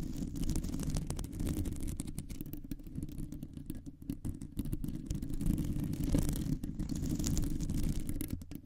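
Long nails scratch and tap on a round, hollow metal mesh microphone grille. The result is a continuous, muffled, low rumbling scrape, dense with irregular soft taps and only faint brightness above it.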